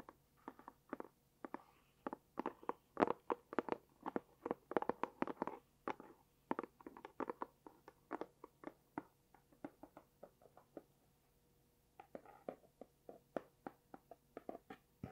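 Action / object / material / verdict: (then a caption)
tap / small closed cardboard box / cardboard / none. A small, hollow, closed, rectangular light pink dotted cardboard gift box is tapped on its flat faces with long dark-painted nails and fingertips. The result is a quick, irregular run of short, dry, hollow taps with a mid-pitched knock and almost no ring, pausing briefly near the end before the tapping resumes.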